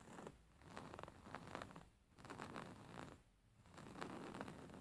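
Fingernails scratch along the embroidered lines of a stuffed beige linen pillow with stitched fabric. The result is soft, raspy, zipper-like scratching that rises and fades in repeated swells with brief quieter gaps, and it stays mostly low and mid in tone with little brightness.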